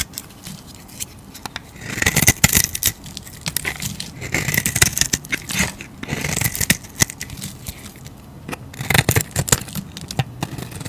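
A utility blade scrapes and shaves a solid, striped orange bar of soap, producing dry, crackly scraping strokes with bright, hissy shaving noise. Sharp clicks and flicks come in uneven bursts, with a low body under the scraping. The sound dies quickly between strokes, leaving short quiet gaps.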